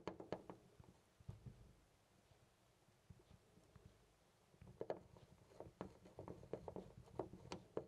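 A hand grips a loose brass-colored metal knob on a white interior door and jiggles it, producing quiet, short metallic clicks and rattles with a mid-pitched knock around 600 Hz. The rattling comes in bursts at the start and again over the second half, with a near-silent pause in between.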